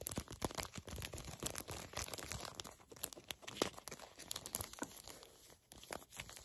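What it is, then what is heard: Foil-laminate sachet being crinkled. A small, flat, filled Garnier Fructis hair mask sachet made of foil and plastic laminate is crinkled and bent between both hands with long nails. Dense, bright crinkling and crackling runs throughout, broken by sharp, quick snaps that stop almost instantly.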